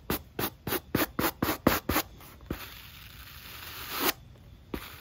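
A black rubber sneaker outsole and foam midsole, held in hand, are scrubbed with a natural-bristle wooden brush. Eight quick, bright scratching strokes come first, followed by a single stroke, then a longer scrub that swells and cuts off, and one last soft stroke.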